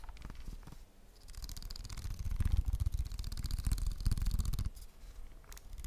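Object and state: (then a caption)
Plastic game controller. A hollow plastic PS5 controller held in the hands has its buttons and grips tapped quickly with fingertips and short nails. The result is a fast, uneven run of dull, low taps with a bright clicky edge that builds in the middle and eases off near the end.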